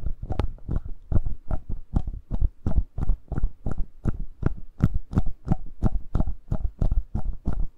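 Fingertips and nails tap and scratch the mic capsule area and top of the body of a hollow black plastic Tascam handheld audio recorder. The result is a steady, close series of short, dull, low thumps, about three per second, each with a faint brighter scratchy edge and no ringing tail.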